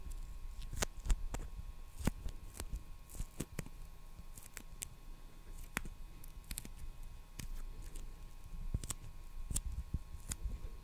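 Fingertips and nails tap and scratch the surface of a small roll of clear or beige plastic packing tape on a core, held in one hand close to the microphone. The result is a quiet, irregular series of short, sharp clicks with bright crackly scratches between them, over a soft low rumble and a faint steady hum.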